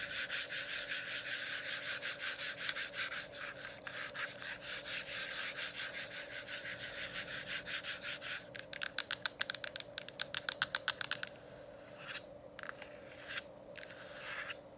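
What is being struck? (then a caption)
Plastic diffuser dome cover. Long acrylic nails and fingertips rub and scratch along the sides of a hollow, lit plastic diffuser dome cover, making fast, bright, rasping strokes over a faint steady hum. The strokes are dense and continuous at first, then turn sharper and more separated before fading to a few softer brushes.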